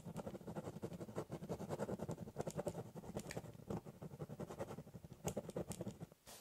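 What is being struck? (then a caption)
Ballpoint pen on corrugated cardboard. A ballpoint pen rapidly hatches across the top of a large corrugated cardboard box, producing a dense run of dry, scratchy strokes. The sound is mostly low and muffled, with a few brighter ticks. It ends with a brief quieter scrape.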